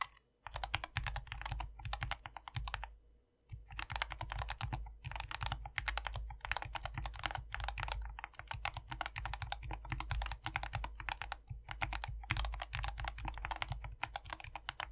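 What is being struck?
Plastic mechanical keyboard with PBT keycaps.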